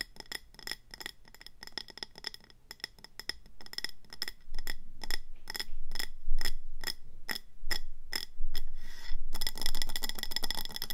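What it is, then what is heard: Glazed ceramic plant pot. Long manicured nails on both hands tap and scratch the sides of a medium round ceramic planter with a speckled grey-green body and an orange glazed rim, filled with pebbles and a succulent and resting on a table. About forty short, bright glassy clicks come in quick, uneven runs with almost no ring, and they grow louder over time. The clip ends in a dense, continuous scratching rasp.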